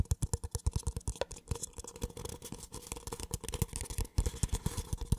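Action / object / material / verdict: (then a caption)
tap / small paper cup / paper / none. Fingertips scratch and tap the wall of a small, empty, hollow white paper cup held close to the microphone. A rapid, steady stream of short, dry, hollow taps with a soft scratchy texture, heavy in low thumpy tones and with almost no ring.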